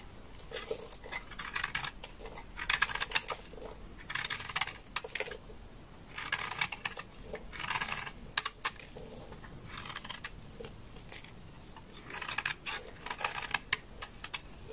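A large, solid, beige dry laundry soap bar is shaved with a utility knife blade, and curls and powder fall away. Repeated bursts of bright, crisp scraping and crackling come with sharp clicks and ticks over a quiet background. The sound sits mostly in the high range.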